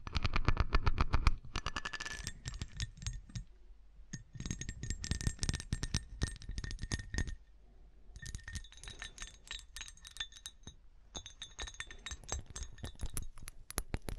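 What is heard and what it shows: A glass object is tapped quickly and repeatedly, giving a dense run of short, bright clinks with a thin ringing tone over soft low thumps. The taps come in bursts with brief lulls near 4 and 8 seconds.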